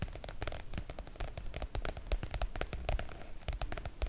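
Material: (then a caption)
PVC oilcloth. Long nails on both hands tap and scratch the glossy surface of a floral PVC-coated oilcloth make-up bag. The result is a dense, steady stream of quick, dry clicks and crinkly scratches with soft low thumps underneath. Each tap dies away almost at once.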